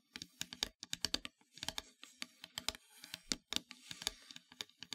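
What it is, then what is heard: Painted wooden heart plaque, solid. Long nails tap and scratch across the surface of a solid, flat, black-painted wooden heart plaque. A rapid, uneven series of short, dry, bright clicks dies away almost instantly, with stretches of soft, hissy scratching between the taps.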